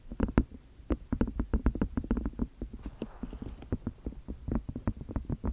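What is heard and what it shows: A small, white, hollow and empty silicone food container is held in both hands behind and beside the microphone while fingers and long nails tap, squeeze and rub its flexible sides. A quick, uneven series of soft, dull, low thumps is heard, each dying away almost at once, with a brief rubbing hiss in the middle.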